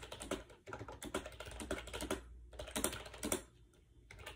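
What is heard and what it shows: Fingertips rapidly press the round keycaps of a compact gray plastic AJAZZ 308i wireless Bluetooth keyboard with a hollow shell, resting on a bed. Quick, light plastic clicks and taps come in dense bursts, broken by short pauses, each tap decaying almost instantly. The typing fades to softer, sparser taps near the end.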